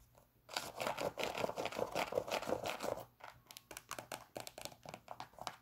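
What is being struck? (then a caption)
Synthetic leather and mesh sneaker. A white, hollow and empty Nike Air Max 97 sneaker with a wavy synthetic leather and mesh upper is held in the hands and scratched and tapped along the upper with long pink acrylic nails. After a brief quiet start, a dense, crinkly scratching rasp runs for about two and a half seconds, then gives way to a steady series of crisp, dry, short taps.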